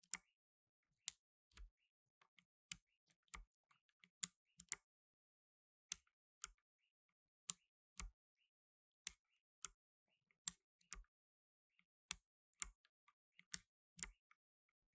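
Slow, separate key clicks come from a black tenkeyless mechanical keyboard with plastic keycaps pressed by blue nitrile-gloved fingertips. Each press makes a short, bright click with almost no ring, spaced apart by quiet gaps. About twenty clicks are heard.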